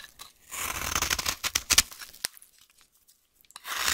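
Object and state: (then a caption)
Dry soap bar being carved. A solid, dry green vintage soap bar held in the hand is carved with a utility knife blade. Bright, crisp scraping and crunching cuts come in a dense burst, then a few sharp clicks and near silence, before another carving pass begins at the end.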